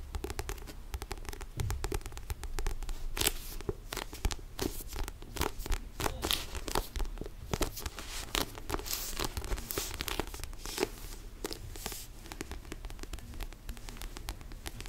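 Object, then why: Paperback book with paper cover. Fingertips tap and scratch the paper cover of a small yellow and black paperback sudoku book held close to the mic. A steady stream of quick, dry taps and crisp scratchy rasps flickers from low thumps up into bright, papery hiss. Each sound stops short, with a soft low hum underneath.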